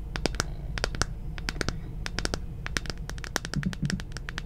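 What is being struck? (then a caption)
Plastic moon lamp sphere. Quick, sharp clicks of long painted fingernails tapping and scratching a round plastic moon lamp, a hollow sphere about the size of a head, lit red-pink and held in one hand. The hits come in fast, uneven runs with bright, short clicks over a low hum.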